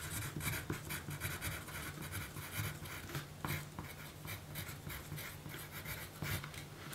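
A yellow pencil writes a list on a small, thin pink paper note card resting on a dark surface. Soft, scratchy graphite strokes come in quick bursts with a bright, papery hiss over a steady low hum.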